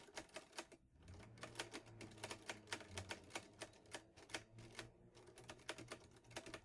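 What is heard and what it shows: A vintage teal metal Underwood Olivetti Lettera 22 portable typewriter with paper loaded is typed on steadily with fingertips. It produces a fast run of sharp, bright key clacks with brief pauses, over a faint low hum.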